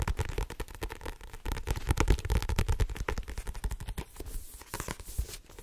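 Long painted nails rapidly tap and scratch the blue card cover and spine of a medium paperback novel with a solid paper block, held in both hands. The result is a dense stream of quick, dry, low thuds with very short decay, mixed with scratchy crackles and brief brighter rasps toward the end.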